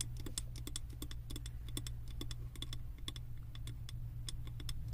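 Long nails tap rapidly on the sides of a wax-filled glass candle jar held in both hands, then move toward its base. The result is a fast, irregular stream of short, bright clicks over a steady low hum.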